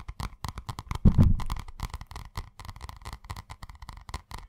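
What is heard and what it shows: Fingertips tap and scratch the cardboard cover of a purple spiral notebook held in front of the mic. Quick, irregular, dull taps run throughout, with a louder, sustained scratching burst just after the first second. The sound is mostly low and thumpy, with a steady mid-range rustle on each tap.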